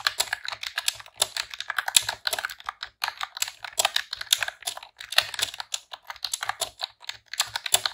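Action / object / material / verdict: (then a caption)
tap / plastic computer keyboard / plastic / none. Long press-on nails and fingertips type rapid key presses on a pink retro-style plastic computer keyboard with round keycaps. The result is a steady run of short, bright, clicky clacks in quick bursts, with almost no low end and no ringing.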